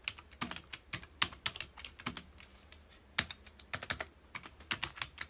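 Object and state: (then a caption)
Plastic computer keyboard. Fingertips of both hands rapidly press the keys of a full-size black plastic computer keyboard resting on a dark desk. The result is a quick, uneven run of short, bright plastic clicks and taps that die away almost at once, with brief pauses between bursts.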